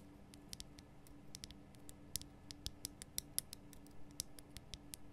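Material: Rock salt.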